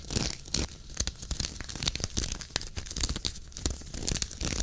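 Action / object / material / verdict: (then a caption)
scrape / knit fabric sweater / knit fabric / none. Fingertips and nails scratch and rub the fabric of a worn, dark waffle-knit henley sweater near the button placket. The result is a dense run of dry, tearing scratches and crinkly rasps with bright hiss. Soft low thumps run underneath.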